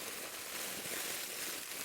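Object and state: Nothing is struck.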